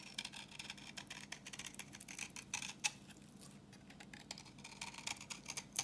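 A utility knife blade scrapes a solid, translucent orange bar of dry vintage soap held in the hand, raising crumbly yellow shavings. The sound is a quiet, dense run of rapid, bright, dry scratches and crackles with no ring, with a few sharper clicks standing out along the way.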